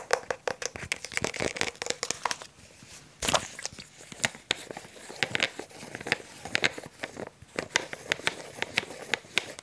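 Fingertips and short nails tap and scratch the sides and blue screw cap of a hand-sized, blue translucent plastic water bottle held close to the mic. The result is a dense run of quick, bright clicks and crinkly scratches with almost no low end, each one dying away instantly. A brief quieter stretch before the midpoint is broken by a louder scrape.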